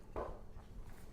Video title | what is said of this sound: Making Sourdough Bread | if it gives a good solid knock or tap they say hollow but I never understood that part but good solid top then it's done